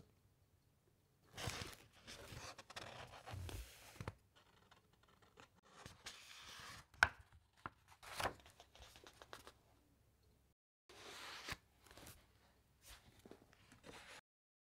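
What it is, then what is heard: Thick paper pages being turned and rubbed. Thick paper pages of an open encyclopaedia are lifted and flipped by hand, then both hands rub flat across the pages with the fingertips. Quiet bursts of crisp, papery rustling and soft scraping come in waves, with a few sharp crinkles and snaps, separated by near-silent pauses.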